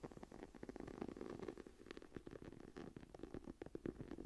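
Long nails on both hands scratch across the embossed tree design of a closed brown faux leather journal lying flat on a table. The result is a quiet, continuous run of dry, rasping scratches with short, fast-decaying bursts, mostly low-mid in tone with very little brightness.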